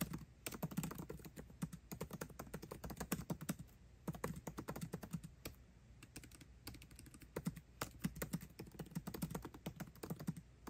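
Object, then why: Laptop keyboard with plastic keycaps in an aluminum body. Fingertips type fast on a MacBook Pro's built-in keyboard, with plastic keycaps set in an aluminum body. Quick bursts of short, dry clicks carry a soft low thump, each dying away almost instantly. Brief pauses break up the rapid runs of keystrokes.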